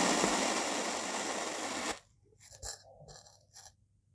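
A hand-held white-bladed knife slices through a solid, molded, two-tone dark purple and beige kinetic sand block, cutting it into slabs. A steady, bright, grainy scraping hiss runs for about two seconds and then stops abruptly. Four softer crumbly crackles follow as the slab settles.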